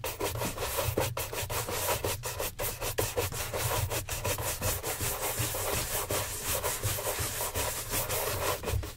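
A gloved hand rapidly brushes a hollow brown leather oxford shoe, mounted on a stand, with a wooden-backed horsehair shine brush. The result is a steady run of quick, dry, bright swishing strokes over a continuous low rumble near 100 Hz.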